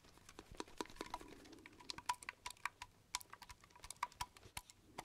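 A red, white and blue metal aerosol spray can, likely shaving cream, with a plain silver base, hollow and of unknown fullness, is held sideways in one hand and tapped with the fingertips. Quiet, rapid, irregular taps give short, bright metallic pings with a tone near 980 Hz that die away almost at once.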